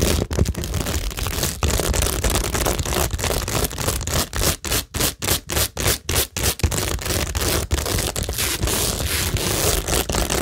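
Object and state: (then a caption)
Cork board studded with plastic gems, scratched. Long nails scratch and fingertips rub across a cork tingle board studded with plastic rhinestones, gems and pearls. A dense, hissy scraping texture runs throughout, with a low rumble underneath and bright crackly detail on top. Midway it breaks into a run of quick, separate strokes with short gaps, then returns to steady scratching.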